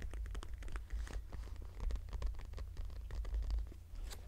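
Fingertips and nails rub, scratch and tap the front flap of a small floral-printed brown leather crossbody purse, lying closed on a bed sheet. A dense run of soft, dry scratches and quick light taps plays over a steady low hum for about four seconds.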